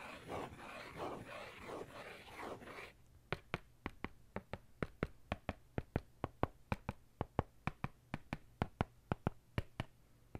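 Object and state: Faux-leather notebook cover tapped with a pen.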